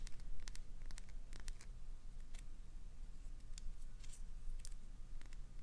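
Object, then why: Glycerin soap bar scraped with fingernails. Long pointed acrylic nails scratch the surface of a clear green solid glycerin soap bar and carve off small shavings. Quick, bright, crackly scrapes and clicks come in irregular bursts over a steady low rumble.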